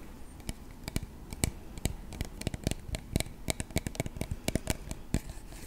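A clear plastic body mist spray bottle, about 15 cm tall with a black cap and partly filled with purple liquid, is held in both hands and tapped repeatedly on its sides with short fingertips and nails. About two dozen quick, dry clicks come in an irregular rhythm, each with a low thud and a bright tick that dies away almost at once, over a quiet background.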